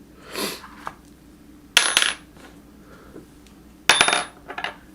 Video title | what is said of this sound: Sorting Treasure & Building Out Metal Detecting Studio | you can usually hear a silver ring it's just got that high tone to it